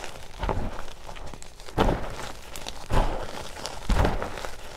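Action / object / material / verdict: scrape / gym chalk powder mixed with baby oil / magnesium carbonate / none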